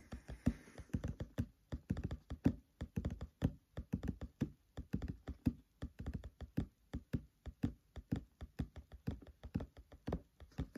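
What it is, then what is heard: Fingertip tapping on open book pages. Fingertips tap rhythmically on the paper pages of an open, thick paperback book, about fifty quick taps in a steady pattern. Each tap is a soft, dull, low thud that dies away almost instantly, with little bright content and a quiet overall level.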